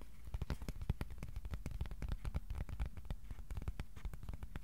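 A piece of cardboard is tapped with the fingertips, both slowly and quickly. A dense, uneven run of soft, dull thumps, each with a faint crisp click, stops dead with no ring.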